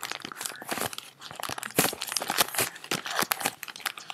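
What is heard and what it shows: A stack of paper US dollar bills held in both hands is crinkled and rubbed between fingers with long nails, then sorted into a neat pile. Dense, bright crinkling and rustling comes in quick bursts with very little low end and no ring after each crackle.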